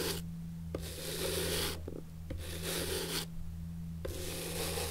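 A natural bristle brush is rubbed across the leather sole of an antique leather shoe held on its side, sole up. Bursts of bright, dry scratchy brushing alternate with short pauses over a steady low hum.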